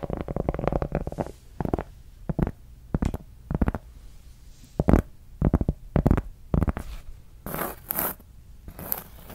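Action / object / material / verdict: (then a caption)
scrape / large flat cork coaster / cork / none. A large, solid, round flat cork board is scratched with long acrylic nails. The result is bursts of dry, rasping scratches separated by short pauses. Some later strokes sound brighter and hissier.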